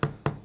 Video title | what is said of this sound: Silicone Partial Foot Prosthesis - Prosthetic leg - Prosthetic arm - Cyborgs World | it starts to sound real hollow all of a sudden. And that's these two pieces starting to separate.